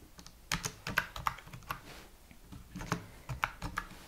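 A slim white full-size computer keyboard with plastic keys is pressed with single fingertip taps and short typing bursts, giving about 18 sharp, clicky keystrokes. Each tap is bright and dies away almost at once, with brief quiet gaps between the bursts.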